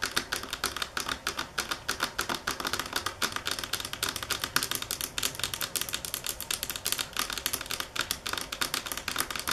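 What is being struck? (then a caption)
Marble table top tapped with fingernails. Long fingernails tap on a marble table top at varying speed and force, making a rapid, continuous stream of sharp, bright clicks. The clicks are short and dry, with almost no low end and little ring after each tap.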